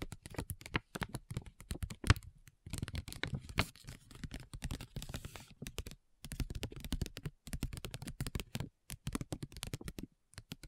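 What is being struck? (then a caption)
Plastic foil sheet-mask pouch. Long nails tap quickly on a flat, printed plastic and foil facial sheet mask pouch lying over a recorder. Rapid bursts of dry, crinkly clicks with soft low thumps run in quick runs broken by brief pauses. Each tap dies away almost at once.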